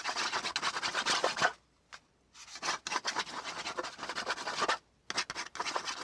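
A flat brown kraft cardboard panel, held down by one hand, is scratched back and forth with the tip of a black pen. Dry, bright rasping strokes come in quick bursts, separated by a few short pauses.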